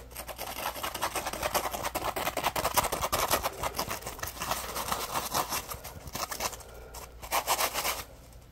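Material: Polymer foam.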